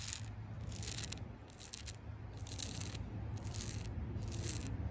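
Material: Bark.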